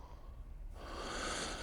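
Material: Nothing is struck.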